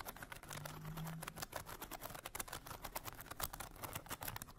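Long fingernails tap and scratch quickly across the ridged, painted bamboo slats on the curved lid of a small hollow trinket box with a bead clasp. The result is a dense run of crisp, dry clicks and raspy scrapes with very short decay. A faint low hum sits underneath early on.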